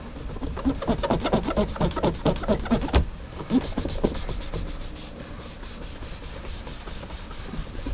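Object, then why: Leather cowboy boot toe rubbed with a shine cloth. A black cloth strip is pulled back and forth across the polished toe of a brown leather Lucchese cowboy boot, which sits hollow and empty on a rack for a shoe-shine rub. Quick, rhythmic swishing strokes have a dull, low body and a brief sharp snap about three seconds in. The strokes then continue more softly and evenly to the end.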